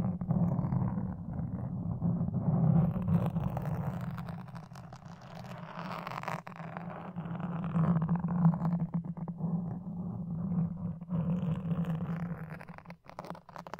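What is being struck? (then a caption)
Foam microphone windscreen. Wooden toothpicks scratch across a black foam windscreen on a red microphone. The result is a dense, muffled scraping with a steady low hum near 160 Hz. Its loudness swells and fades as the strokes continue, ending with a few sharper, quieter scratches.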